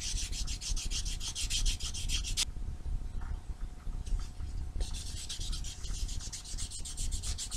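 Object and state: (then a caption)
Foam nail buffer rubbed on nails. A small solid foam nail buffer block with blue and white abrasive faces is rubbed over black fingernails in quick back-and-forth strokes, making a bright, scratchy hiss. The stroking eases to a softer, duller rub in the middle of the clip, then returns to the fast, bright buffing until the end.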